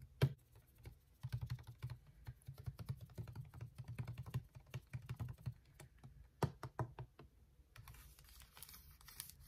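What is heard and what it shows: Fingertips and nails tap and scratch along the ridged side of a clear, hollow plastic water bottle with a white cap and blue label, held horizontally. Dozens of quick, soft, dull taps land in irregular bursts, each dying away almost instantly with a low, hollow thump. Near the end, a faint bright scratching hiss from the nails running over the ridges comes through.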